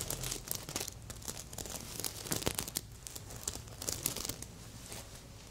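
Long nails scratch across a stuffed red sequin heart pillow and flip its sequins. The result is a steady, bright crinkly rustling with sharp scratchy ticks and crackles that rise and fall in intensity.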